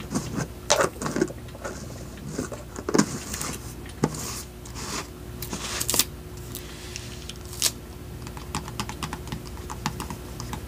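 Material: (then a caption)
Plastic. A small clear plastic jar of dry floral gel beads, with a white lid and a pink label, is held in both hands and tapped on the lid and sides with fingertips and nails. The result is an irregular stream of short, sharp, clicky taps with bright edges and very little ring, some louder than others, over a faint steady low hum.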